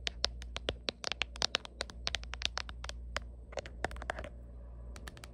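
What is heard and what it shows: Long painted nails tap and scratch the back of a black hard plastic phone case with a white line-art print, fitted on a smartphone held in the hand. Around 27 sharp, bright clicks sound in quick, irregular bursts with scratchy rasps between them, each dying away instantly. A brief lull comes near the end before a few final taps, all over a steady low hum.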